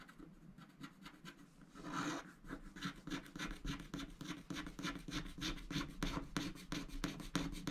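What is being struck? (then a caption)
Coated scratch-art paper scratched with a wooden stylus. A wooden stylus scratches and rubs the flamingo area of a coated scratch-art paper sticker sheet. Quick, steady rasping strokes repeat about three times per second, with a low scraping body and bright papery edges. A fuller burst of scratching comes around two seconds in.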